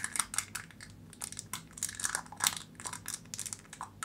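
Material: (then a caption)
Aluminium foil. Long nails scratch and press on the silver foil seal of a plastic jar, producing bright, dry crinkling and scratchy taps in a rapid, uneven series. The sound is crisp and high with almost no low end, and each crackle stops instantly with no ring.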